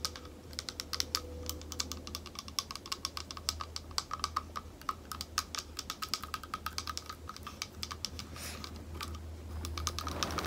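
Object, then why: Small thick glass bowl. A small, thick, clear glass bowl, hollow and empty, is tapped with long nails and fingertips around the rim and base. It gives dozens of quick, dry, bright clicks with a faint glassy tone, each dying away almost at once, over a steady low hum.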